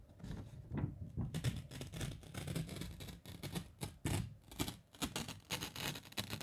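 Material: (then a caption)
Paper. A single thin sheet of white letter/A4 printer paper is held in both hands by the fingertips and flexed, bent and shaken close to the microphone. It makes soft, crinkly rustling with repeated bright crackling bursts over a low, fluttering rumble.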